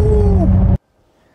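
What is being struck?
Nothing is struck.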